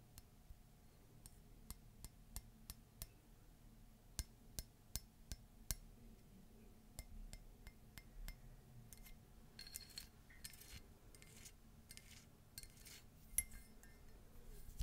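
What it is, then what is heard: Ceramic mug tapped and scratched with nails. Long pink nails tap and scratch the relief surface of a hollow, empty cream embossed ceramic mug with feet and an ornate handle. Sharp, bright clinks ring off the ceramic with almost no sustain, then give way to rough, hissy scratching bursts over a quiet background.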